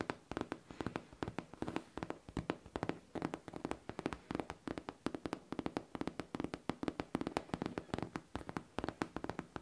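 A pink, hollow faux leather backpack is tapped rapidly with long painted nails, producing a steady stream of dry, clicky taps in quick bursts. Each tap dies away almost instantly, leaving a faint hollow tone around 290 Hz under the bright clicks.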